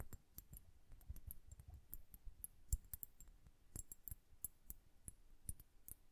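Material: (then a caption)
Glass. Long nails tap a glass hourglass filled with blue liquid and bubbles while a hand rotates it. About 17 quiet, sharp taps and clicks land in an uneven rhythm, each a dull low knock topped with a brief bright tick that dies away almost instantly.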